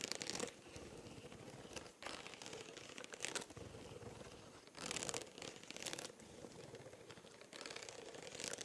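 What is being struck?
Spiral notebook with textured plastic cover.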